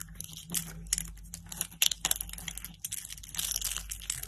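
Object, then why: Soap curls. Fingers with lilac nails pick up thin, hollow blue-and-white striped dry soap curls from a woven mat and crush them into brittle shards. The result is a dense run of dry, bright crunches and crackles, with a steady low hum underneath.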